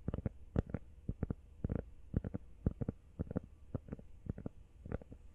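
Fingertips tap quickly on a rubber iPhone case, making short, dull, low thuds in irregular little bursts. Each tap dies away almost instantly with no ring, over a faint steady background hiss.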